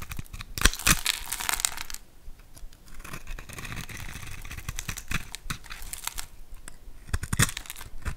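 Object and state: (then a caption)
Bar of soap being carved. A hand-sized solid bar of green soap, pre-scored in a grid and held in the hand, is scraped and carved with a metal utility knife blade as green cubes break off. Crisp, bright crumbling and scraping comes in dense bursts early on and again near the end, with quieter, steady scratching and soft snaps in between.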